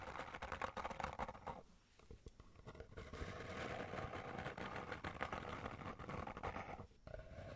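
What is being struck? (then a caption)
Small cardboard box. Long nails tap and scratch rapidly on the faces of a small, hollow kraft cardboard box held in both hands. The result is a quiet, dense patter of dry, papery clicks and scrapes with a hollow low thump. The sound eases briefly around two seconds and again near seven seconds.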